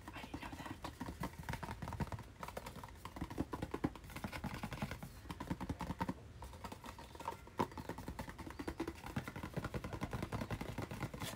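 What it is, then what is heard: Cardboard retail package. A hand-sized, hollow white and blue cardboard retail package with a hang tab is held up and rapidly tapped with fingernails. A steady, dense stream of dry, clicky taps with a hollow, boxy knock continues throughout. Each tap dies away almost instantly.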